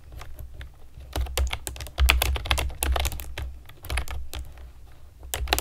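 Long nails and fingertips type on a compact plastic typewriter-style keyboard with round plastic keycaps and a hollow plastic body. Rapid, bright plastic clicks and clacks come in uneven bursts over a steady low hum, with louder flurries of keystrokes now and then.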